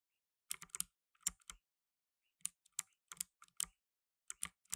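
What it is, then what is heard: Plastic mechanical keyboard. Blue nitrile-gloved fingertips type steadily on a black tenkeyless mechanical keyboard with plastic keycaps. The sound is bright, crisp clicking and clacking in quick, uneven bursts with quiet gaps between them. Each keystroke dies away almost instantly, with very little low end.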